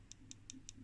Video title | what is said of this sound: Venner Electronics Frequency Counter TSA3436 1969 test teardown | that sounds like glass